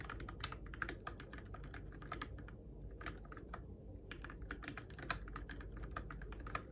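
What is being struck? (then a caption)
Mechanical keyboard with plastic keycaps. Fingertips type steadily on the plastic keycaps of a Keychron K6 compact RGB-backlit mechanical keyboard in the dark, producing quick, crisp clicks and clacks that reach into the highs. The typing runs in an uneven rhythm with a brief lull near the middle, over a constant low rumble.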